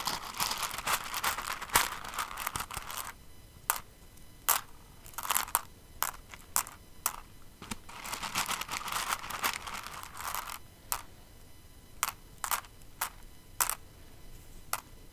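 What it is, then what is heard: Plastic rhinestones stirred by hand. Fingers with long nails dig into and stir an open clear container full of plastic rhinestones. Dense, bright crackling rattles in two bursts, with sharp separate clicks and taps in between as the stones shift and tick against each other.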